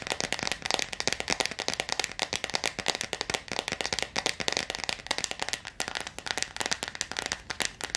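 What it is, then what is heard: Plastic jar of water beads. Long acrylic nails tap and scratch fast on the clear plastic lid of a clear plastic jar full of blue water beads. The result is a rapid, continuous stream of sharp, dry, bright clicks and scrapes with almost no low end and no ringing after each tap.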